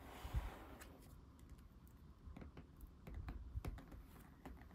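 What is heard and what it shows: Fingertips and nails of both hands tap quickly on the glossy back cover of a thick square cardboard board book, "The Snowy Day", with solid laminated pages, lying face down on a wooden table. The taps are soft, dull and low, with brief sharp clicks from the nails that die away almost at once, over a faint steady background.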